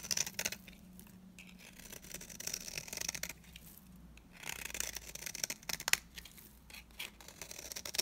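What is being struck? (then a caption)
Soap bar scraped by a metal blade. A metal blade scrapes and cuts into the surface of a solid, dry, round green soap bar held in the hand. The sound is a quiet, bright series of crisp scraping and crackling strokes with short sharp clicks, separated by brief pauses, with a faint low hum underneath.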